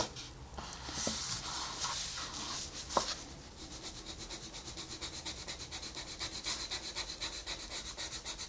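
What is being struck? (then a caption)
Wooden colored pencil on a paper page. A wooden colored pencil rubs steadily over a flat paper coloring book page while shading, giving a soft, bright, papery scratching. The first few seconds are broader, smoother strokes with a sharp tick near the three-second mark. After that it settles into quick, even back-and-forth strokes at about four per second.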